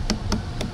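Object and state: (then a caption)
Watermelon knocked, sounds firm and okay. Watermelons are tapped by hand at a night market stall to check ripeness, giving four short, dull, low knocks that die away quickly. None sound hollow, which would mean empty inside and overripe, so they are all judged okay.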